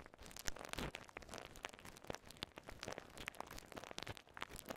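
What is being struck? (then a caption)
Polyethylene bubble wrap. A small ball of clear polyethylene bubble wrap with air-filled bubbles is held in both hands, squeezed, and popped with fingertips and thumbs. The result is a quiet, steady stream of crinkling and crackling with many short, sharp pops that cut off almost at once and carry bright high-end snap.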